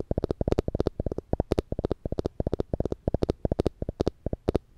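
A small yellow plastic spring clamp with black rubber tips and a metal spring, held in one hand above the microphone, has its jaws squeezed and released again and again. It makes a rapid, uneven series of short, dry clicks with a hollow, low-mid tonal knock around 380 Hz and a brief bright tick on top, each cutting off almost instantly.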